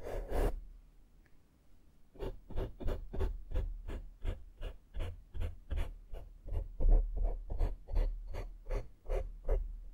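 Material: Foam.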